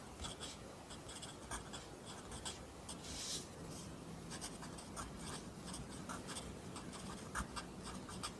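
A pencil writes along the top line of a new page in a lined paper notebook held flat by the other hand. The graphite scratches the paper in soft, bright strokes that come and go over a steady low background hum.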